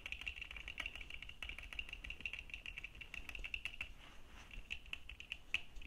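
Fingertips and nails of both hands rapidly tap the dark plastic lenses and frame of red-framed plastic sunglasses worn on the face. The result is a steady stream of quick, light, dry clicks with a bright, high tone and almost no ring, over a faint low hum.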